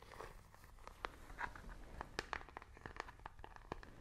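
A small, hollow handheld plastic IR remote control with colored rubber buttons is held in both hands and tapped and clicked with long nails. A quick, uneven run of sharp, light plastic clicks and taps rings around 1.2 kHz, with a faint crinkly texture between them and almost no ring after each hit.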